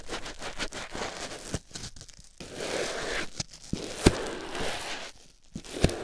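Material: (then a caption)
Foam. A white foam sponge block held in the fingers is squeezed and rubbed against a silicone ear microphone, making close, soft crunching and crinkling scrapes. Broadband rustles swell and fade with brief silent gaps and a few sharp clicks in between.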